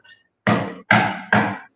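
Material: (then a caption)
Acacia wood. Three knocks on the thick top of a solid acacia wood furniture piece, each a full, door-like thunk with a low body and a short ring of about a fifth of a second. The top is thick but not made from a heavier wood.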